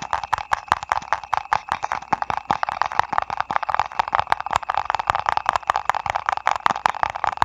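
A small printed paper ice cream cup, held in both hands, is tapped quickly with fingertips and nails. It gives a fast, irregular stream of dry, crisp clicks and taps with a hollow midrange tone centered near 930 Hz and bright clicky edges. Each tap stops at once with no ring.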